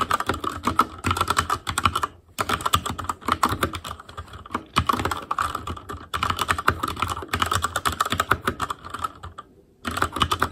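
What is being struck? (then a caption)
Mechanical keyboard with plastic keycaps. An Asus Claymore Core mechanical keyboard with plastic keycaps is typed on with the fingertips of both hands. Rapid, sharp key clacks arrive in steady bursts, broken by brief pauses near the start and end, with a bright midrange click and a little low thud under each stroke.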